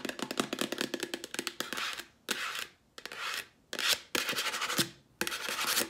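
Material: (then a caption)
Plastic. Long nails tap and scratch the plastic lid and sides of a cylindrical Clorox disinfecting wipes canister, hollow with wipes inside. A quick run of sharp, dry clicks comes first, then several bright, hissy scratching strokes that swell and fade with short pauses between them.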